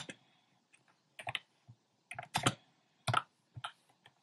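Fingertips with short painted nails type on a compact plastic mechanical keyboard with round pastel plastic keycaps in a dark frame. Short, dry clacky keystrokes come in irregular bursts and small clusters, each with a low body and a bright click that dies away almost instantly. Quiet gaps separate the bursts.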